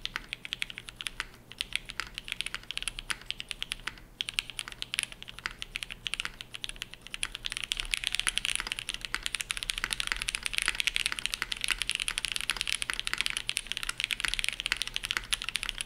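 Fast two-handed fingertip typing on a dark navy Shelby80 tenkeyless mechanical keyboard with TTC Matrix switches, GMK ABS keycaps and a POM plate. The rapid, bright, short clacks have almost no low end, and the typing grows denser and louder after about seven seconds.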